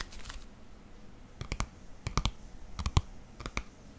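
Fingertips and nails tap and scratch the cover of a green paperback book with a white barcode label, held in the hands. A soft, bright scratching opens the clip, then quick clusters of sharp, dry taps follow in twos and threes. Each tap has a low thump and a crisp click that dies away almost instantly.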